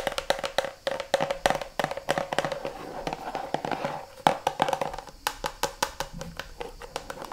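Long manicured nails tap and scratch the sides and front of a medium-sized, hollow, mostly empty red translucent plastic kids' shampoo bottle (Garnier Ultra Dolce, Ariel label) held in both hands. About 39 quick, dry clicks come in an irregular run, each with a hollow plastic tone near 780 Hz that dies away almost at once. Soft scratching fills the gaps between the taps.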